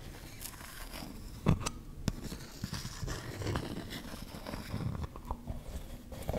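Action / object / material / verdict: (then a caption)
scrape / plastic cosmetic tub / plastic / none. Fingernails scratch and tap a closed, round, hand-sized body-butter tub, likely plastic, on its lid and ridged side. Soft, low scraping runs throughout, broken by short, dull taps with almost no ring, and one louder knock about a second and a half in.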